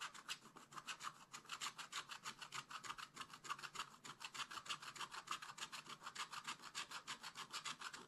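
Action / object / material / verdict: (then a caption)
scrape / coated scratch-art paper scratched with a wooden stylus / coated paper / none. A wooden stylus scratches a flat, black-coated scratch-art page in a spiral-bound book with rapid back-and-forth strokes. About 50 dry, bright scratches repeat in a quick, fairly steady rhythm, with a raspy hiss centred around 1.3 kHz and almost no low end. It sounds quiet and close.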